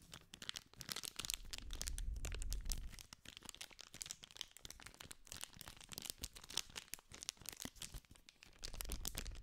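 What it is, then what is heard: Cellophane-wrapped cardboard candy pack. A small green cardboard sweets pack wrapped in clear plastic film is held in the hand while fingertips and nails scratch and crinkle the wrapper. Dense, bright crackling and crisp snaps run throughout, with a deeper rustling rumble swelling in the first few seconds and again at the end.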